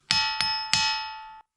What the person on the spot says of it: dense crystal and rock gives you that clear ring